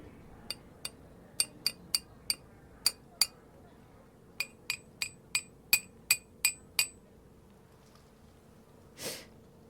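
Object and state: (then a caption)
Clay teapot tapped with metal. A forged letter opener taps a black clay kyusu teapot from the Tokoname area 16 times in two quick bursts, each tap a bright, high clink that dies almost at once. A short breathy snort follows at the end, and the teapot's tapping sound is rated a six.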